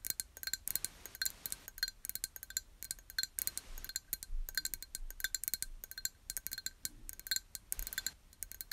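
A small, empty, clear glass jar, hollow and held in both hands while being turned over, is tapped with long nails. Dozens of quick, light clicks and clinks come in bursts, each with a bright, glassy ring around 1.5 kHz and higher that stops almost at once.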